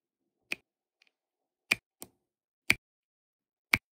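A plastic drill pen with a wax tip taps blue resin drills down onto an adhesive diamond painting canvas. Five sharp, bright clicks ring at irregular intervals, each dying away almost at once, with a faint soft tick between the first two.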